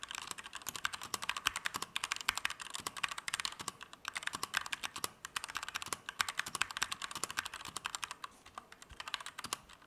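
A compact Keychron K2 V2 mechanical keyboard with Gateron Red switches, plastic keycaps and an aluminum frame is typed on fast with the fingertips of both hands. The result is a steady, rapid stream of short, bright plastic clacks centered around 1.5 kHz, with almost no low end and no ring after each keystroke.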